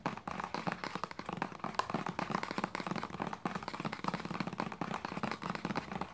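A hollow white plastic lotion bottle with a red cap is tapped rapidly along its body with long nails and fingertips. The result is a dense, continuous run of short, dry clicks and taps with almost no ring, centered around 1 kHz with some low body.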